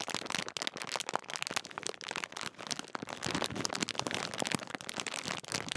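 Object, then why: Metallised plastic crisp packet. A large Walkers crisp packet made of metallised plastic foil film is crinkled and rubbed between fingertips at its top seal area. The result is a dense, continuous run of sharp, bright crackles and crunches with very little low end, each snap dying away almost instantly.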